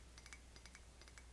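Quick, light clinks and ticks come from a ceramic Starbucks coffee mug decorated with coffee beans on the outside. The bright, high ringing taps arrive in three small clusters, with a tone around 2.3 kHz, over a steady low hum.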